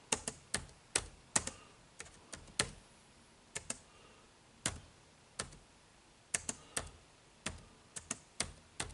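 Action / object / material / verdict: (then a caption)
tap / plastic laptop keyboard keys / plastic / none. Fingertips type on the dark plastic keys of an HP laptop keyboard. About 21 short, bright clicks come in an irregular rhythm, each dying away almost at once over a quiet background.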